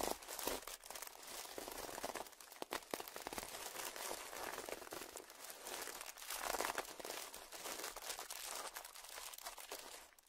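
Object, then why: Small plastic zip-lock bag. Fingertips of both hands press and crinkle a small clear plastic zip-lock bag, partly filled or puffed up, lying on dark fabric. Dense, bright crinkling and crackling runs continuously through the clip with almost no low end, swelling and easing in waves.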